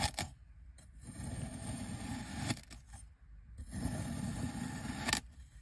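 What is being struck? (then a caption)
Kinetic sand dome cut with a knife. A white ceramic knife blade slices repeatedly through a solid, hand-sized dome of pink kinetic sand on a white surface. The cuts make soft, grainy, low scraping hisses, each marked by a sharp tick.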